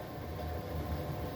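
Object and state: Nothing is struck.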